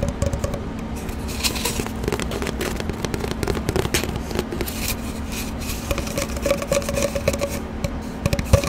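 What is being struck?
Cardboard paper towel tube.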